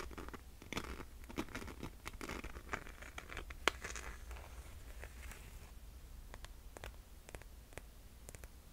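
Long nails scratch and tap the glitter strap of a single rose gold glitter slide sandal with a metallic faux-leather buckle strap and a suede-covered footbed. The sound is a quiet, dry, gritty rasping, broken by sharp, bright clicks that stop instantly with no ring, over a faint steady low hum.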